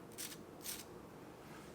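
A utensil is worked across the skin of a pan-seared salmon fillet, giving two short, bright scraping crackles over a faint low hum. The crackling shows the skin is really crispy.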